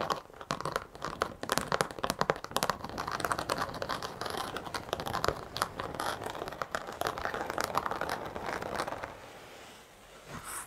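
A black textured carpet car floor mat, held horizontally, is scratched and tapped with long acrylic nails. Dense, rapid crinkly scratching and sharp ticking taps run for about nine seconds, centered in the midrange with little low end. The sound then thins to a faint hiss with a last soft scrape at the end.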